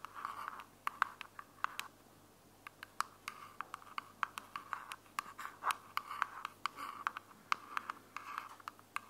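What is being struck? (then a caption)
Plastic earbud charging case. Long fingernails scratch and tap the flat lid of a small, hollow, closed white plastic earbuds charging case held in one hand. Bursts of dry, bright scratching centered around 1.1 kHz alternate with many sharp, clicky taps that stop almost instantly, with no low-end thud.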